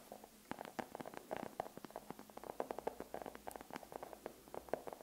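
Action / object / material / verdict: tap / dark chocolate bar tapped with fingernails / chocolate / none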